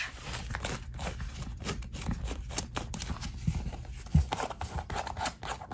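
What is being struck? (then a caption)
Knit mesh sneaker with rubber sole. Long acrylic nails tap and scratch the knit upper and laces of an empty black knit-mesh running shoe with a white foam/rubber sole, lying on a wooden parquet floor. A dense run of soft, quick taps and fabric scrapes carries a low, muffled thump, with a few sharper, louder knocks standing out near the middle and end.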